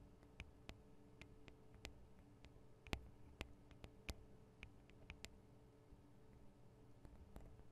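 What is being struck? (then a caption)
Small metal microphone capsules on a handheld recorder. Fingernails tap on the sides of the small metal microphone capsules of a Tascam DR-40 recorder. About 18 sharp, bright clicks arrive at an irregular pace over a quiet, low hum, each dying away almost instantly.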